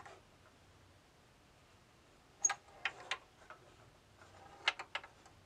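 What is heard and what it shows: A small steel ball rolls inside a flat, box-like bamboo tilt maze as hands turn the knobs to tilt the board. After a quiet start, two irregular bursts of sharp, bright clicks ring out as the ball knocks against the wooden walls, each click dying away almost instantly.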